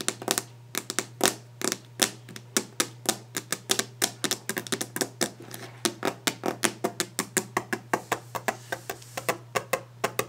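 Long nails tap rapidly and aggressively on the solid, polished top of a varnished wooden desk. About 48 sharp, bright clicks follow each other in quick, uneven succession, each dying away almost instantly. A steady low hum runs underneath.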